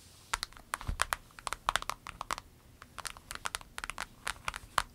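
Long nails tap and scratch across a small, clear orange vinyl pencil pouch with a snap flap, laid diagonally with pens inside. About two dozen quick, dry, bright clicks and crinkly scratches come in an irregular patter, each one short and dead with no ring.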